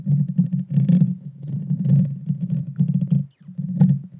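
Long dark fingernails scratch and tap directly on the hollow metal mesh grille of a Blue Yeti Nano microphone. The result is a dense, boomy rumble concentrated in the low end, with rapid scratchy pulses and occasional brighter crackling bursts. It pauses briefly near the end before resuming.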